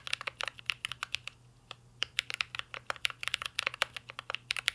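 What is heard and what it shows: Two hands type steadily with fingertips on a full-size mint-green Cyberboard R3 mechanical keyboard with a metal case, plastic keycaps and Holy Panda switches, resting on a desk. The result is a quick, irregular stream of bright, sharp keystroke clicks, each dying away almost instantly. There is a short pause just before the two-second mark and a faint low hum underneath.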